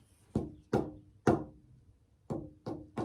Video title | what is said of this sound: Preparing a soundboard blank :How to build a guitar pt 7 | you can tap it you can hear it ring you get sort of an idea of what it's going to sound like now